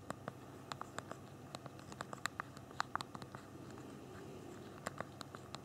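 Thumbs type on the small plastic QWERTY keyboard of a BlackBerry Q10 phone. Quiet, irregular, short, crisp clicks tap out at an uneven pace, each key press a brief bright tick that stops almost instantly.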